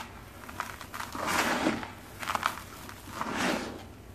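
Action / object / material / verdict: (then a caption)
scrape / sand-cement block / sand cement / none. A hand with dark-painted nails lifts a palm-sized solid block of dry sand and cement mix from a bowl of loose gritty powder, and its fingertips and nails scratch and crumble the surface. Dry, bright gritty crackling and crumbling rises and falls in three swells, with small sharp ticks between them, as grit falls away from the block.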